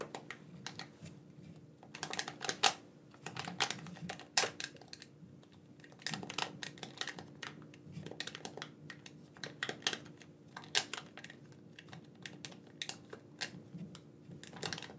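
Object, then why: Plastic gamepad buttons. Thumbs press the buttons and sticks of a black, wired, hand-sized hollow plastic gamepad, making quick, bright plastic clicks and taps that come in busy clusters separated by short pauses. Each click is dry and dies away almost instantly, over a faint steady low hum.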